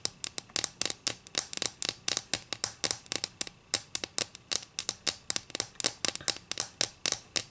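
Long green acrylic nails scratch along the narrow edge of a thin, solid wooden ruler held edge-on. They make a quick run of about 37 short, dry, bright scrapes with almost no low end. Each stroke stops dead with no ring.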